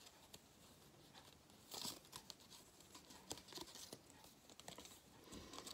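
A thin gold-foil cardboard galette crown, a flat band held close, has its cut-out edges rubbed and crinkled by fingertips. The result is dry, bright crinkling and scratchy rustles in quick, uneven bursts, with a louder crackle near the two-second mark.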